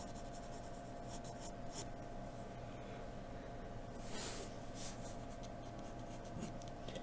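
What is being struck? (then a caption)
Graphite pencil on drawing paper. A hand draws neck and jaw lines on white drawing paper with a graphite pencil, scratching the surface. Quiet, bright scratchy strokes come in short bursts over a steady low background hum.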